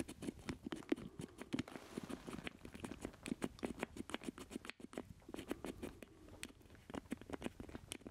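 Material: Plastic.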